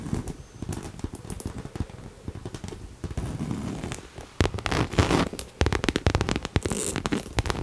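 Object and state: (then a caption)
Coated canvas crossbody bag. Long nails tap and scratch the face of a small, hollow pink Coach crossbody bag with a cherry print in coated canvas, held in both hands. Rapid dull, low taps mix with crackly scratching and sharp, bright clicks, growing louder and busier in the second half.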